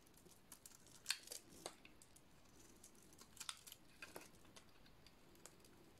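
A solid blue oval bar of dry soap with a painted black and yellow coating is shaved with a metal blade. Soft, scattered scraping and crisp crackling snaps come in irregular bursts, bright and dry with very little ring. The strongest snap lands near the one-second mark and another cluster follows around three and a half seconds.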